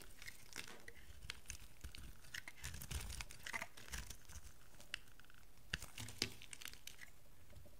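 A rectangular cream and blue bar of dry solid soap, held in the hand, is scraped and shaved with a metal utility knife blade. The result is a quiet, steady run of crisp, crinkly scraping and shaving, with brief bright ticks as the blade bites. A soft low rumble sits underneath throughout.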